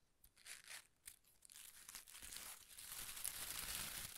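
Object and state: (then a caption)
Shredded paper strips. A large ball of thin pastel paper shreds is held in both hands while the fingertips rub and crinkle the strips. A few separate bright crinkling bursts come first, then the rustling grows into a dense, continuous crackle that gets louder toward the end. The sound is mostly high and airy, with little low end.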